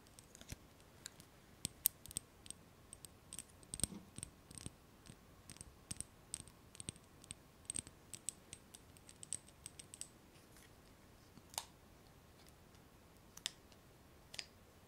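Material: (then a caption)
Glass. Long acrylic nails tap and scratch the outside of a small round clear glass jar filled with solid purple candle wax. About 40 quick, quiet clicks come in dense bursts for the first ten seconds, then thin out into a few scattered taps and short scratches. Each click is sharp and bright with almost no ring.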